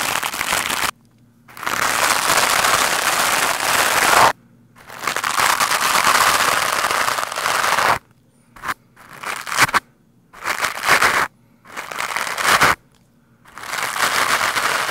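A black foam microphone windscreen is brushed fast with a lime-green plastic scrub brush. The brushing makes dense, crackling, scratchy friction noise centered in the mids with bright upper hiss. It comes in rough, steady bursts broken by brief silences.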